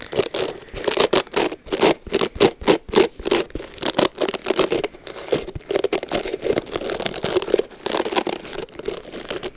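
Long blue nails scratch and pluck through the dense bristles of a Mason Pearson boar and nylon bristle hair brush, an oval black-bodied brush with a red rubber cushion, held in hand near the mic to pull out hair. Quick dry scratches, rustles and crisp plucks follow one another in uneven bursts, each dying away almost instantly, with a mid-range body around 400 Hz and a bright crackly edge.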